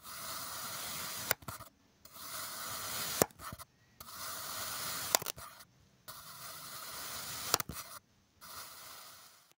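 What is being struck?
Kinetic sand block cut with a metal knife.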